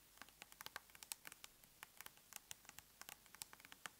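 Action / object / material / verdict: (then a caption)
tap / plastic cosmetic tub lid / plastic / none. Long nails tap quickly and lightly on the lid of a large round plastic tub of aloe soothing gel held up in the air, making a rapid run of 26 quiet, sharp clicks. Each click is bright and dry, with almost no low end and no ring, set against a faint hiss.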